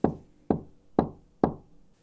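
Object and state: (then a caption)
Wooden box. Four evenly spaced knocks on a wooden box, each a hollow, full-bodied thud centered in the low mids with little sharpness and a quick decay. The tone has plenty of body and almost no bright edge.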